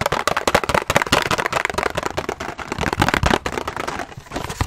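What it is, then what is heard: Cardboard box tapped and scratched. A small, hollow printed cardboard box of Optico 60 lens cleaning wipes, held close to the mic, is tapped and scratched fast with long nails and fingertips. The result is a dense run of sharp, dry clicks and papery scratches with bright crackly edges and almost no ring.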